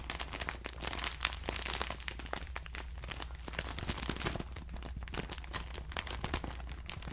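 A hand-sized clear plastic bag full of cotton rounds is squeezed and crinkled with the fingers, then held up near the ear. Dense, bright crackling and crunching fills the clip in quick bursts over a steady low hum.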